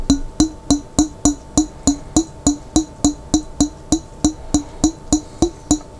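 A large clear glass pickle jar with a lid, partly filled with water and held sideways, is tapped on its glass body with fingertips. About 20 quick, evenly spaced taps sound in a steady rhythm, each a short, woody knock with a mid pitch and a faint bright ring that dies away almost at once.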